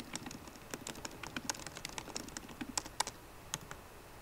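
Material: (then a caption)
Plastic. Both hands type fast on a MacBook Pro keyboard, tapping its plastic keycaps on the hollow aluminium laptop body with fingertips and long painted nails. A quick, uneven stream of short, dry clicks comes through, each snapping off almost instantly with a bright top and little low end.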